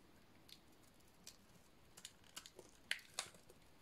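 A hand-sized, solid red bar of dry painted soap is scraped and shaved with a metal utility-knife blade, sending pink curls falling. About eight short, crisp scraping cuts sound at irregular intervals, each bright and dry with almost no ring, the last few louder and sharper over a quiet background.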